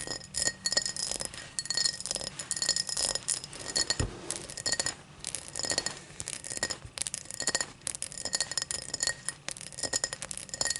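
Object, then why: Empty cut crystal tumbler. Long black nails tap and scratch the cut pattern near the open mouth of an empty tall cut crystal glass tumbler lying on its side. The result is a dense run of quick, bright glassy clicks and clinks mixed with light scratching. Each tap dies away almost instantly, and the sound stays high and sharp throughout.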